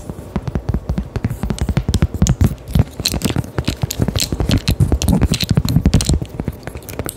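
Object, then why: Thin cork coaster tapped and scratched with acrylic nails. A small, round, thin solid cork coaster held near the mic is tapped and scratched with long decorated acrylic nails. It makes a fast, uneven run of dull, low, close-up taps mixed with dry scratching. Each tap is short and dies away quickly, with only faint brightness on top.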